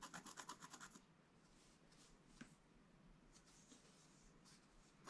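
A wooden stylus scratches lines into a flat, black-coated scratch-art card page. It opens with a quick run of short, bright rasping strokes, then settles into a quieter, steady scratch with a few sharper catches scattered through.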